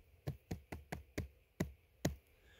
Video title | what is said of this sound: Cèpes : spot précoce !!! Tu vas adorer !!! + Bonus Girolles [S21E09] | we tap delicately and we listen to this bewitching noise